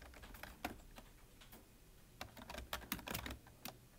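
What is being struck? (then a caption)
Plastic computer keyboard. Both hands type with their fingertips on a full-size black plastic computer keyboard with a hollow body, resting on a desk. Fast, uneven key taps each give a dry click with a low thump underneath and a bright edge, dying away almost at once, with a few louder strikes standing out from the quieter patter.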